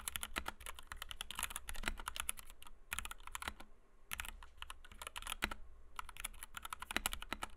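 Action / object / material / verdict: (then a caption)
strike / plastic mechanical keyboard with PBT keycaps / plastic / none. Fingertips of both hands type rapidly on a compact white 60% Kemove DK61 mechanical keyboard with Gateron Red switches, PBT doubleshot keycaps and a plastic case, resting on a desk mat. Quick, dry, bright clacks come in dense bursts with brief pauses, over a faint, steady low hum.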